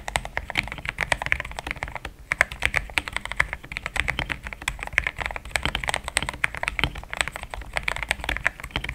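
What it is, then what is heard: Mechanical keyboard with plastic keycaps. Fast fingertip typing on a compact, pink-cased mechanical keyboard with thick cream XDA plastic keycaps that sound solid. The keystrokes come in a steady, rapid stream of short, crisp clacks with a bright upper-mid tone and a light low thud underneath. Each one dies away almost instantly, with only a brief slight pause near the two-second mark.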